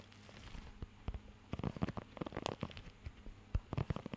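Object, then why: Rubber pet grooming glove with nubs. Fingertips scratch and tap across the raised nubs of a blue rubber pet hair grooming glove held close to the microphone. The result is a quiet, uneven stream of short, dry, crackly taps and rubbery scrapes, mostly low and dull, that grows busier after the first second and a half.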